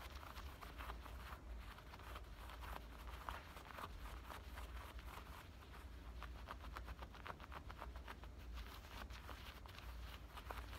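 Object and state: Denim shorts pocket scratched.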